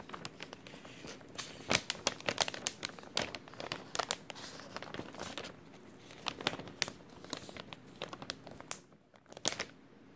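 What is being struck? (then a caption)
Thin clear plastic bag. An empty, thin clear plastic bag with a white label is crumpled with the fingertips of both hands. The result is a steady run of bright, crisp crinkling and sharp crackles, with louder bursts early on and near the end and a brief lull just before the final crackles.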